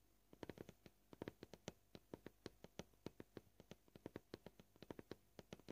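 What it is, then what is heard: Plastic cutting board. Short fingernails tap a flat, solid white plastic cutting board at a varying pace, making about 35 dry, clicky taps. Each tap is brief, with almost no ring, and some come in quick clusters between pauses.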